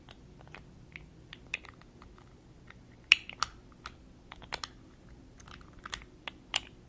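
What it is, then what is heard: Glass cosmetic jar with metal-look lid. A small, clear, thick-walled glass cosmetic jar with a gold metal-look screw lid, holding a small amount of makeup, is held in the hands and tapped with fingernails around the glass and the lid. The result is an irregular series of quiet, crisp, bright clicks and ticks with almost no ring, a few taps standing out louder than the rest over a faint low background hiss.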